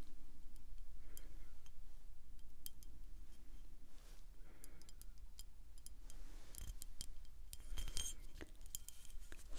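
Long acrylic nails tap and scratch on a small, full, dark glass wine bottle with a paper label, held in the hand. Quiet, sharp, bright clicks and papery scratches come at an irregular pace over a steady low hum, each tap dying away quickly.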